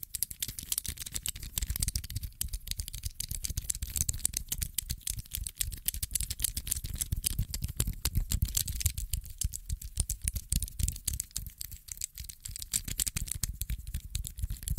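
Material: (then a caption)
Metal. A small grey-teal metallic infinity cube made of solid hinged blocks is flipped repeatedly with fingertips and thumbs. Its blocks make rapid, irregular clicks with short, bright snaps over a low, soft rumble of handling. The clicking runs steadily throughout with no pauses.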